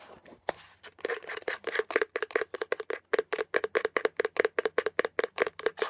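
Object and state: Plastic air freshener dispenser housing.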